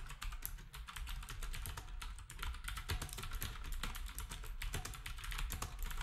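Fingertips of both hands type rapidly on a black retro typewriter-style keyboard with round plastic keycaps, producing a dense, continuous stream of short, bright plastic clicks over a low, steady hum. The key strikes come quickly and overlap with little ring between them.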